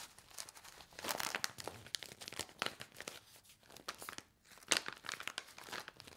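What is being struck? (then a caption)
Stack of laminated paper-foil sachets with dry powder. Hands with long nails bend, squeeze and riffle a handheld stack of small, flat laminated paper-foil sachets filled with dry soup powder. The result is dense, bright crinkling and crackling in quick overlapping bursts, loudest around the first second and again near the end, with a brief lull just before.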